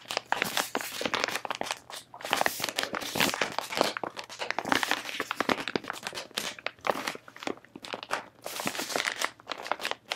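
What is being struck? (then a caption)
Soft plastic face wipe pack. A full pink soft-plastic face wipe pack is crinkled, squeezed and scratched with long manicured nails and fingertips close up. Dense, bright crackling crinkles come in repeated bursts with short quiet gaps, full of sharp high-frequency detail and almost no low end.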